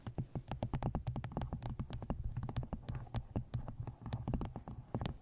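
A paperback book is held upright while fingertips and nails tap along the top edge of its pages and cover. The result is a quick, uneven run of short, dry taps, each with a soft low thump and a light click, heard very close and full of low-end boom.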